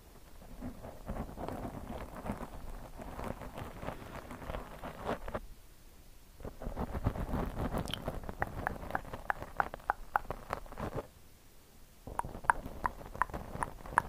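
Long, glossy purple-painted nails scratch and tap the soft, porous black foam windscreen over a rounded microphone head, held in both hands. Dense, crackly scratching rustles in bursts with two brief quiet pauses, with sharper, brighter taps toward the end.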